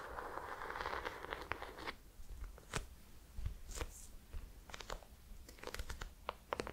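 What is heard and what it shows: A small, solid hardcover notebook with an ornate embossed gold and brown cover is held in the hands and scratched and tapped on the cover with long painted nails. The first two seconds are a steady, dense scratching rustle, followed by scattered crisp taps and short bright scrapes over a low background rumble.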